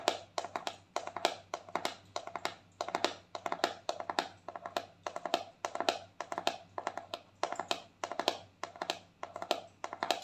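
Long painted fingernails tap rapidly on the lid of a round, palm-sized white plastic cosmetic jar with a pink label, hollow and likely filled with cream. The taps come in quick clustered bursts of short, dry clicks centered around 690 Hz with a bright edge, each dying away almost instantly, over a faint low hum.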